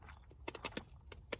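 A fully dried, brown loofah gourd with its bottom snapped off is shaken, and its dark, fully mature seeds rattle out of the hollow sponge inside. About five short, dry clicks ring out over a faint low background, each one brief and bright with almost no ring. The gourd is fully developed.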